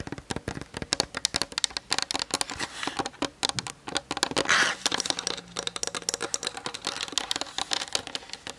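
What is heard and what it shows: Long nails tap rapidly across the top plate and lens barrel area of a plastic-bodied Canon DSLR. The result is a fast, uneven stream of dry, bright clicks with no ring, and a brief denser, scratchier burst near the middle.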